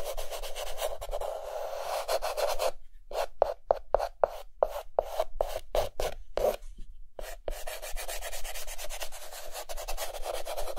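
A white chalk stick held in the fingertips rapidly hatches and fills in a mask drawing on a dark green chalkboard. Dense, continuous scratching and rubbing gives way in the middle to a run of separate short, sharp strokes with brief silences between them, then returns to steady scratching. The sound is dry and raspy, centred around a mid-range tone near 580 Hz.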